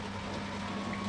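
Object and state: Nothing is struck.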